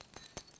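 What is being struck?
Aluminum surface lure with metal hook rings.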